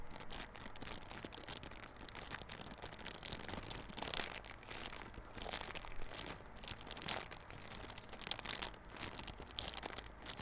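Fingers scratch and crinkle the clear plastic wrap on a small yellow cardboard Realme Buds Classic earphone box held on its side. The result is a continuous, close, bright crackling and rustling texture, with louder swells around the fourth, sixth to seventh and eighth-to-ninth seconds and no ringing after each scrape.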